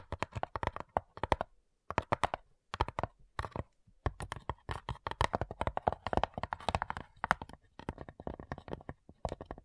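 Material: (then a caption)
Wood. Long nails tap quickly on the printed top lid of a small, hollow, light-wood cigar-style box with brass clasps. Bursts of dry, clicky taps with a hollow mid-range knock come in uneven runs, broken by short pauses. Each tap dies away almost at once.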